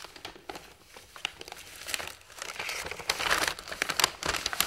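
A large, thin printed paper plan sheet for a toy train lies on a table and is flattened, smoothed and bent with fingertips and palms. It makes bright, irregular paper crinkling with sharp crackles and soft rustles, growing busier and louder in the second half.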